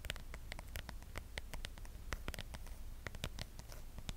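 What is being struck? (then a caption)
Plastic phone case on a smartphone. Long acrylic nails rapidly tap and scratch across the back of a pale, patterned plastic case on a smartphone held sideways in both hands. Dense, quick, bright clicks and scraping ticks land close together over a steady low rumble, each one dying away almost instantly. The overall level stays quiet.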